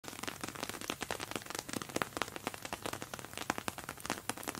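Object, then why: Plastic-coated fabric makeup bag. A plastic-coated fabric makeup bag is tapped continuously with quick, light taps. The taps are dry and crackly, with bright, short clicks that barely ring, rising and falling in a steady patter like rain on a surface.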